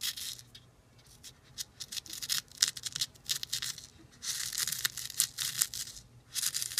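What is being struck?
Dry sand in a plastic bowl.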